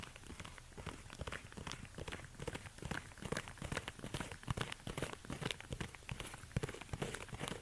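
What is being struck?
Suede high-heel ankle boot.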